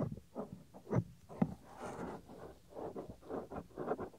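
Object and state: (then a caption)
Silicone microphone ear cover rubbed. Fingertips rub and scratch the small, solid white soft silicone ear cover on a 3Dio binaural microphone. Close, muffled, low rubbing and scratching come in uneven bursts. Two sharper thumps stand out near the one-second mark and just after.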